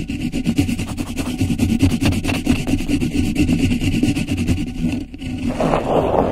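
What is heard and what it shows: A thin sheet of grey polka-dot beeswax-coated cotton wrap stretched over the top of a microphone is rubbed and scratched with long nails. The result is a close, continuous papery rustle of rapid scratchy strokes over a heavy low rumble. The sound dips briefly near the five-second mark, then returns as a brighter crinkling rub.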